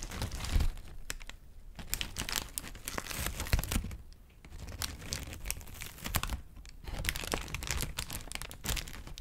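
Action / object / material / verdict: scrape / thin paper sheet / paper / none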